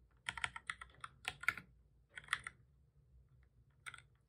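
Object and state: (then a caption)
Plastic computer keyboard being typed on. Both hands type with their fingertips on a full-size black plastic keyboard with a hollow body, resting on a desk. Quick, bright, dry key taps come in short uneven bursts, with brief pauses in between and then a final small flurry. Each click stops almost instantly.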